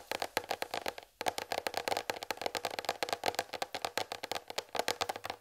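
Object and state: Plastic tray tapped with fingernails.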